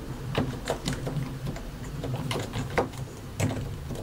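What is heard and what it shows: A white and grey plastic mechanical keyboard with keycaps over solid switches is typed on continuously with the fingertips of both hands, pressing and tapping the keys. A stream of short, dull clacks with quick decays sits over a low, thumpy body, and a few louder strikes stand out among softer taps.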